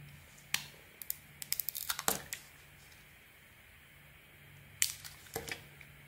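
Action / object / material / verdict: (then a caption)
scrape / bar of soap cut with a metal blade / soap / none. A metal blade cuts and scrapes a small solid white soap bar with a gold leopard-print painted coating, held in the hand. Quiet, bright crackling scrapes and crisp cuts come in two clustered bursts separated by a pause, over a faint steady low hum.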